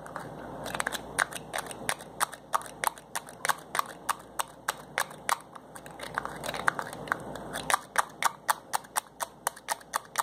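Fingers twist and pull the white plastic cap and nozzle on a small glass bottle holding a yellowish liquid. A steady run of sharp, dry clicks and crackles, centered around 1.5 kHz, plays over a faint hiss. Each click is brief and dies away almost instantly.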